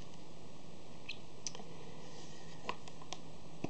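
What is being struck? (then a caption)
Plastic DVD case. A hollow plastic DVD case with printed inserts is held open, handled and closed while its edges and hinges are clicked and tapped with fingernails. About five sharp, quiet plastic clicks and taps come at irregular intervals over a faint, steady low hum.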